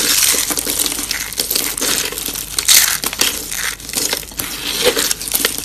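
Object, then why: Dried soap curls. A hand with long painted nails crushes thin, dry pastel soap curls in green, purple and pink on a wooden surface, pressing them flat into shards. Dense, bright crunching and crackling runs almost continuously, with quick brittle snaps and almost no low end. The curls break apart into flattened shards.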